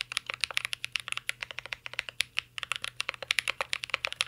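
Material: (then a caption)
Plastic, aluminium. A full-size CYBERBOARD R3 mechanical keyboard with an aluminum case, plastic keycaps and Holy Panda switches is typed on with the fingertips of both hands. The result is a rapid, steady stream of short, bright clicks and clacks with almost no ring after each keystroke, with a brief pause near the middle.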